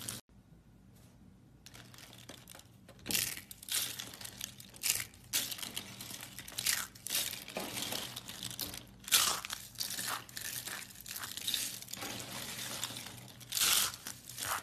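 Long pink-nailed fingers crush and squeeze a light pile of thin, solid green-and-white striped soap curls shaved from a bar of soap. After a nearly silent start, a steady run of bright, dry crinkling and crunching follows, with louder crackling bursts rising from softer rustling. The sound is high and crisp with almost no low end.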